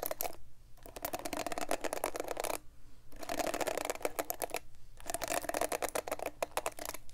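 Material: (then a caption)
Plastic. Long acrylic nails scratch and flick across the plastic bristles of a black plastic paddle hairbrush, bristle side facing the mic. Bursts of rapid, bright, crackly clicks and scratches come in three stretches, separated by brief quiet pauses.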